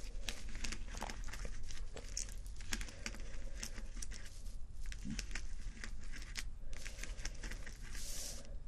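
Fingernails of both hands scratch across rows of small plastic acrylic rhinestone sticker strips on fabric. The result is a dense, steady run of crisp, crinkly clicks and scratches with sharp bright ticks over a low, soft background.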